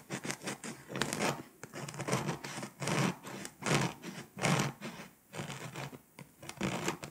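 A pink scraper scratches the foil coating off Poland on a flat, foil-coated paper scratch-off map, leaving foil flakes behind. Short, gritty scratching strokes come in uneven bursts with brief quiet gaps between them. Each burst has a dry, bright rasp over a soft low body.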